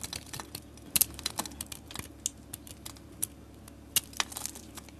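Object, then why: Bar of soap scraped with a metal blade. A metal utility blade scrapes thin flakes off the surface of a solid orange soap bar held in a hand with long nails. The clip is a quiet run of crisp, bright scraping ticks and clicks with almost no low end, each dying away at once.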